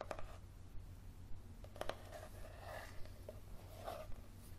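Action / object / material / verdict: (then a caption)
scrape / paperback book, paper softcover / paper / none. Fingernails scratch and tap the cover and spine of a yellow softcover paperback book held at an angle. Soft, sharp taps are scattered among quiet, papery scratching strokes over a steady low hum, all at a low level.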